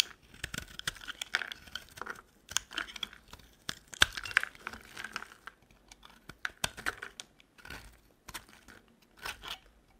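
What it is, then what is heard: Dry soap bar being shaved with a blade. A metal utility knife blade shaves curls off a solid rectangular dry green soap bar held in the hand. Quick, crisp scraping and crackling strokes come in bright, papery bursts with short pauses between them, each stopping dead with no ring.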